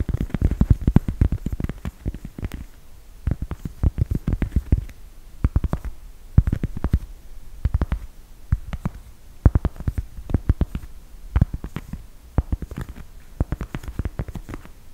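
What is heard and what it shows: A round, flat, thin, solid cork coaster printed with a black cat is held in both hands while fingertips and nails scratch and tap its surface. Quick clusters of short, dull, low-heavy taps and scratchy patter come in bursts separated by brief quiet gaps, each sound dying away almost instantly.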